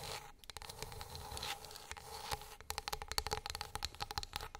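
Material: Wood.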